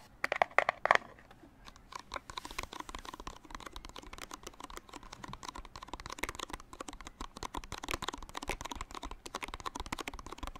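A small retail blister pack of putty, a hollow clear plastic shell on a printed cardboard card, is held in both hands in front of a microphone while fingertips tap and squeeze the shell. A burst of loud, sharp clicks opens the first second, followed by a steady stream of quieter, dense crinkly clicks and crackles centered around 1 kHz with bright edges.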